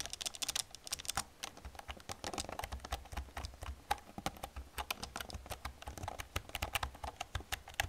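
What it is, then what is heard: Plastic computer keyboard being typed on. Long nails tap and type across the keys of an old black plastic computer keyboard. Dozens of quick, bright clicks follow one another in an uneven, steady stream, each dying away almost instantly. A faint low rumble sits underneath.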